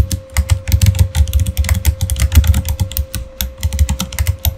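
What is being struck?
Mechanical keyboard with plastic keycaps.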